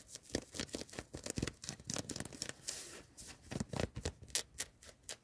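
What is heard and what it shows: Long nails scratch and rub a worn yellow cotton hoodie, first across the chest and then along the sleeve, inside a car. It makes a fast run of dry, bright, scratchy strokes, each a short burst of rasping fabric noise with a soft low thump of contact beneath.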